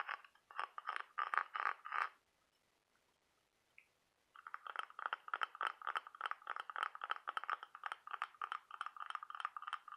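Fingernails scratch and tap along the ribs of a ribbed, brown-patterned cockle half-shell held in the hand. Quick bursts of dry, scratchy clicks centered around 1 kHz stop for about two seconds, then return as a steadier, denser run of scratching and tapping until the end.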